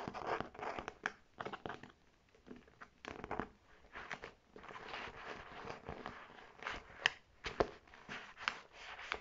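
Long red nails rapidly tap and scratch the striped flap and body of a navy faux leather clutch bag held upright. The sound is a quiet stream of dry, crinkly scratches and sharp clicking taps that come in quick bursts, concentrated in the mid and high range with very little low end.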